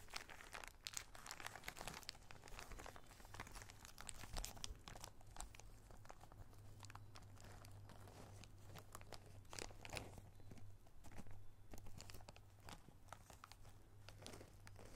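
A small clear plastic zip-lock bag of small red rubber rings is held up and crinkled between the fingertips, and the rings shift inside. The result is a quiet, continuous stream of sharp crinkling and crackling with bright, dry ticks, over a steady low hum near 100 Hz.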